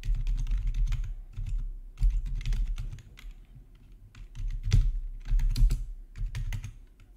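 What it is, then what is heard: Plastic gaming keyboard being typed on. Fingertips type on a full-size black plastic backlit RGB gaming keyboard with a hollow housing, resting on a marble surface. Rapid, uneven bursts of deep, hollow key clatter with bright, sharp clicks on top come in waves with short pauses between them. Each keystroke dies away almost instantly.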